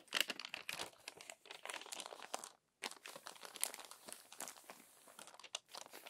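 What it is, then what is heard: Glossy magazine paper being crumpled and smoothed. Crumpled pages of an open glossy paper magazine are smoothed flat and rubbed with the fingertips and palm. A dense run of bright, dry crinkles and crackles carries on, with a brief silent pause before the rustling resumes.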